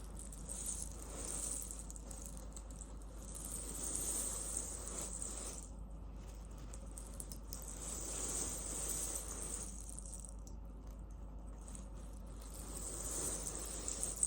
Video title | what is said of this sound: ASMR Post-Yoga Tingles with Tapping, Scratching and Relaxation Suggestions | it's a heating pad with cherry pits on the inside so it's fully natural